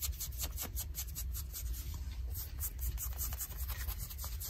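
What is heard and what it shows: Long nails scratch light blue denim jeans on the leg near the seam, making quick, repeated rough strokes. The scratching has a bright, hissy texture over a steady low rumble and continues without a pause.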